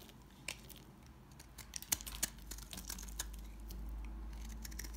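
A knife shaves crumbly pieces from a solid, dry, dark brown household soap bar held in the hands. Quiet, irregular dry scraping and crisp, bright crackling clicks sound over a steady low background hum.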